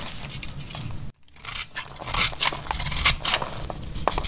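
A cream-colored solid bar of dry laundry soap is held in the hand and carved with a metal utility knife blade, shaving off flakes. Bright, dry scraping and crackly cutting strokes come in irregular bursts, with a brief silent gap early on, then grow louder toward the middle.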